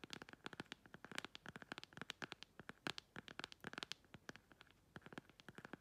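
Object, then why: Plastic phone case. Long pointed red acrylic nails rapidly scratch and tap the face of a hand-held, flat, phone-sized clear plastic phone case with a beige printed "ASMR" insert. The result is a quiet, fast run of sharp, dry clicks and scratchy strokes with bright highs and almost no ring.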